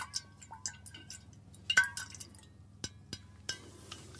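Fingernails tap the hollow stainless steel body of a water bottle near its bottom while it is held upright above the shoulder. The result is a quiet series of short, bright metallic clinks with a faint pitched tone around 1.5 kHz that dies away almost instantly.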